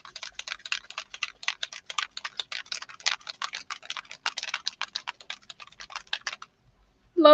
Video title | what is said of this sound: Monday Mastery? - More on the swatches. #distressoxide | if you shake it enough you can hear the little the little marble in it